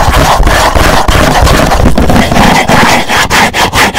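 Fingertips of both hands rub and scratch a hollow, black rigid cardboard gift box. The result is a loud, continuous, rough scraping and rubbing with a strong low rumble, broken by brief irregular dips and sharp scratchy strokes.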